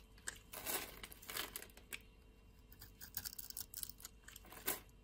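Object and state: Bar soap being scraped and shaved.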